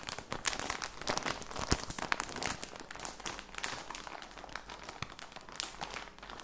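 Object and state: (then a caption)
Plastic sock package. Fingertips crinkle and squeeze a plastic package of socks with a cardboard header. A dense run of bright, crackling rustles and crunches fills the clip with no pauses, loudest early on, then easing into softer crinkling toward the end.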